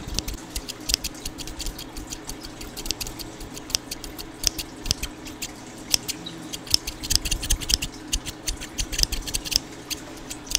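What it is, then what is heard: Steel scissors snipping. A small pair of scissors with steel blades and dark plastic handles, held in the fingertips close to the microphone, is opened and closed repeatedly. Quick, bright snips with metal-on-metal scraping sound over a low, steady background hiss.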